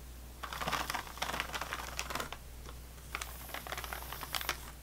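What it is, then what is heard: Plastic-wrapped sleeve of saltine crackers. Fingernails tap and scratch along the ridged side of an unopened, plastic-wrapped sleeve of saltine crackers resting on a table. Quick, bright crinkly clicks and scratchy rasps come in irregular bursts over a low, steady hum.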